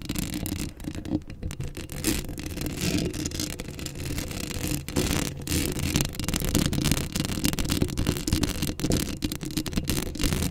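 Long acrylic nails scratch the hollow metal mesh grille of a black Blue Yeti microphone up close. The result is a dense, continuous rasping and scraping with a heavy low rumble around 82 Hz and bright, crackly scratches on top, steady in level throughout.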